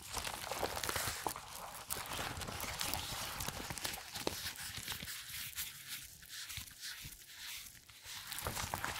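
A thin purple latex resistance band is bunched, crumpled and rubbed between black nitrile-gloved hands. This makes a dense, bright crinkling and rustling with scattered sharp crackles and squeaks. The sound eases into a softer, quieter rubbing in the middle stretch before growing busier again at the end.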